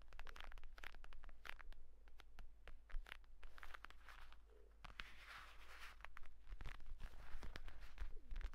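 Fingertips rapidly tap and scratch the cover of a closed purple pebbled leather folio tablet case, then tap along its edge while it is held. The result is quick, dry, irregular clicks and brushy scratches over a steady low hum.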